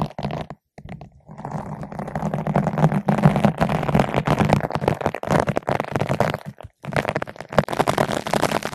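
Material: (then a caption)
Foam. A long bottle brush with green and white nylon bristles, held in both hands, is rubbed back and forth across a large yellow-pink foam ball windscreen fitted over a microphone. The result is a dense, muffled scratching and rustling with a low rumbling body. It pauses briefly near the start and again just before the end.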